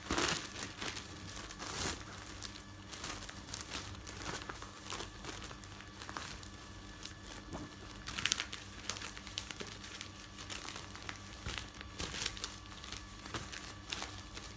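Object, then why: Folded stack of thin newsprint. Fingers with painted nails press and lift the pages of a folded stack of thin printed newsprint resting on a bed. Quiet, continuous rustling and crinkling fills the clip, with bright, crisp crackles and a few louder page lifts standing out.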